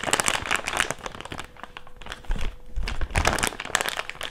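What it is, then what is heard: Thick clear plastic bag. An empty thick clear plastic bag is crumpled and rubbed with fingertips over a table, giving dense, bright crinkling and crackling. The rustle eases into softer rubbing midway, with a few low thuds around the middle, then crinkles loudly again toward the end.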